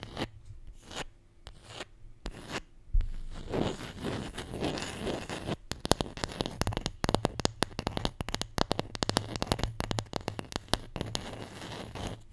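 A wooden Scrabble letter tile, the J, is tapped and scratched. A few sparse, sharp taps give way to a stretch of gritty, rasping scratching, then a long run of quick, dry clicking taps with almost no ring. A low hum sits underneath throughout.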